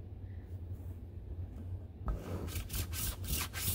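A large, soft, stuffed dark-blue ribbed (corduroy-like) fabric pillow resting on a lap is scratched and rubbed with fingertips and nails across its ribbed cover. After about two seconds of quiet low hum, bright, raspy scratching strokes begin and repeat unevenly, sweeping over the ribs until the end.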